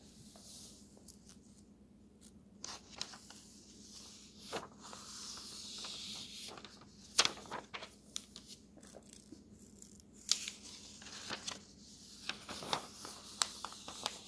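Fingertips turn and slide the thin paper pages of an open road atlas between the fingers. The result is quiet, bright rustling with sharp, short crackles and soft swishes scattered through the clip. A faint, steady low hum runs underneath.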